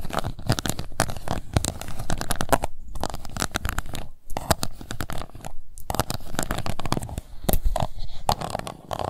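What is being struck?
Plastic cup.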